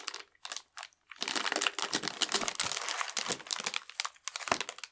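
A full cardboard ration box wrapped in clear plastic film is held in both hands, turned over and rubbed with the fingertips. A few short crinkles give way to a steady, bright crackle of the film under the fingers, with no low rumble.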